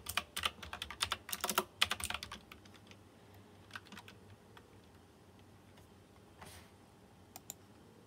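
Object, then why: Plastic mechanical keyboard with metal-rimmed round keycaps. Fingertips type on a white plastic mechanical keyboard with round chrome-rimmed keycaps and RGB lighting. A quick, uneven burst of sharp, bright clacks fills the first two and a half seconds, then thins to scattered single taps, a soft brushing swish, and two final crisp clicks.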